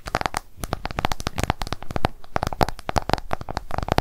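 An iPhone held flat has its glass screen tapped rapidly with long acrylic nail tips. The result is a fast, uneven stream of sharp, dry clicks, each with a short hollow tone around 850 Hz and a bright edge, dying away instantly with no ring.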